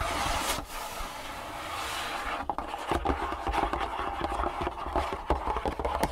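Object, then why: Closed cardboard box. A closed, long printed cardboard shoe-insole box holding insoles lies on a wooden table and is scratched and tapped with long nails and fingertips. The first half is a steady, airy scratching rasp across the cardboard. It then gives way to a quick run of crisp, hollow taps with brief scratches between them.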